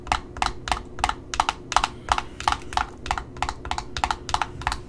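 Long fingernails tap the top of a red Simplicity satin ribbon spool, then tap and scratch the paper price label on its cardboard end disc. About eighteen short, dry taps land in an uneven rhythm, each a crisp click with a mid tone near 890 Hz, bright edges and almost no ring. A faint low hum sits underneath throughout.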